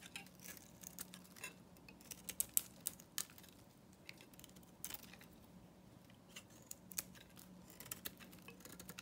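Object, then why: Bar of soap cut with a knife. A solid, dry, pale green bar of soap is held in the hand and shaved with a metal knife blade, and chunks break off. Quiet, crisp, bright scraping and crackling clicks come in scattered bursts over a faint steady low hum.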